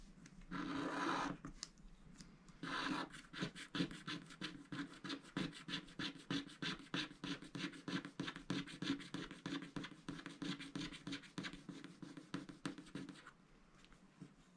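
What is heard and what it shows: A wooden stylus scratches a small motif into a flat, coated scratch-art paper sticker sheet held down by the left hand. Two short, breathy scratching passes are followed by a long run of quick, dry strokes, about three per second, each a brief bright rasp over a low papery body. The strokes fade out near the end.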